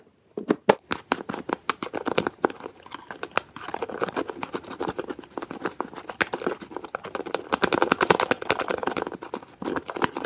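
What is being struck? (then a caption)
Small plastic jar with plastic screw lid. A small, hollow, translucent white plastic jar has its dark plastic screw lid twisted open and closed quickly with fingertips. The result is a fast, dense run of sharp plastic clicks and scratchy ratcheting with a mid-range body and bright edges. Each sound dies away almost instantly.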